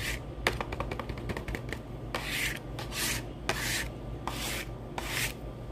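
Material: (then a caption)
Cardboard. Fingertips and short nails of one hand scratch and rub a small, hollow, printed cardboard retail box of saline solution held in the other hand. A quick run of dry, crisp taps and scratches gives way to longer, bright rubbing swipes across the cardboard, all over a low steady background hum.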